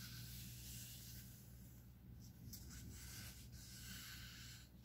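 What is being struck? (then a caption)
Paper comic book. Fingertips and nails rub and scratch across the printed pages of an open paper comic book lying flat on a stack on a wooden table, then flip a page. The result is a soft, steady, bright papery hiss over a faint low hum, with brief crisp scrapes near the middle and end.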